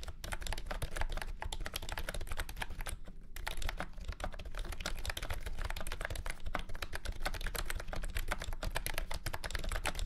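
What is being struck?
Plastic keyboard with round keycaps.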